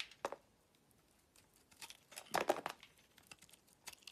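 A utility knife blade scrapes and cuts thin curls from a solid oval green bar of soap held in the palm. Quiet, crisp, dry scraping strokes come in short bursts, loudest in a cluster near the middle, with each stroke ending almost at once.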